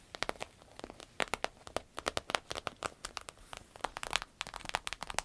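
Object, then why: Vinyl-coated fabric purse. Long red nails scratch and squeeze the flap and body of a soft, hollow green paisley purse made of vinyl-coated fabric with a glossy finish. A rapid series of short, sharp crinkles and crackles with bright, dry snaps follows, each dying away almost instantly, with little low end.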